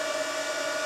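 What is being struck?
Nothing is struck.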